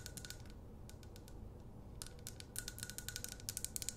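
Long acrylic nails tap and scratch the glass sides and paper label of a medium glass jar candle with a wax fill, held close. Quiet, bright, clicky taps come in irregular bursts over a low, rumbling background. Scratchy sounds fill the first half, and the taps grow sharper and more distinct toward the end.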